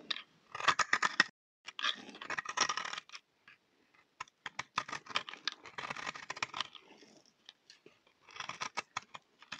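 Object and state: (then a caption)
Dry, crumbly soap bar. A utility knife blade scrapes a solid, speckled, multicolor bar of dry soap held in the hand, shaving off crumbly flakes. Quick bursts of dry, crackly, bright scraping strokes come in clusters with brief pauses between them, each stroke ending abruptly.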